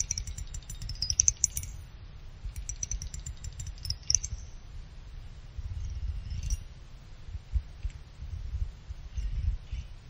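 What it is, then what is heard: Aluminum CPU heatsink. Fingertips and nails scratch and tap the top fins of a small finned aluminum CPU cooler heatsink. Bright, high metallic clicks and scratchy rasps come in clusters, loudest in the first two seconds and around the four-second mark. A steady low rumble runs underneath throughout.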